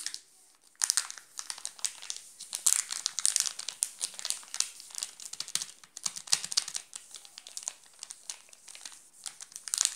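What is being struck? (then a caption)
Plastic film wrapper on a chocolate bar. A wrapped Nestlé chocolate bar in a plastic film wrapper is scratched and rubbed with fingertips. This makes dense, bright crinkling that runs almost continuously, with sharp, closely packed bursts. There is near silence only in the first second, and the crinkling grows louder near the end.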